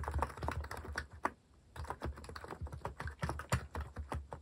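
Fingertips type rapidly and continuously on a compact white-case Hanmumu plastic mechanical keyboard fitted with cream and orange cat-themed plastic keycaps, resting on a wooden desk. The key taps are short, dry and deep-toned, with a brief pause about a third of the way in before the typing resumes.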